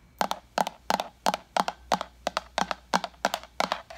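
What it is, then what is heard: Plastic pitcher tapped with fingernails. Long acrylic nails tap the body and lid of a translucent white plastic pitcher with a pink lid, hollow and apparently empty, as it is tilted and turned. About 22 quick, dry clicks fall in roughly eleven double-tap pairs at a steady pace, each with a hollow low knock and a bright click that dies away almost at once.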